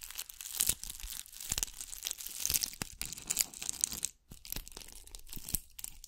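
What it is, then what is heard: Bugle-bead covered ball. Long nails scratch a gold bugle-bead covered ball held beside a microphone, producing dense, bright, crackly scratching and rustling. The sound is made of many sharp little clicks in uneven bursts, with a brief pause just after the four-second mark before the scratching resumes.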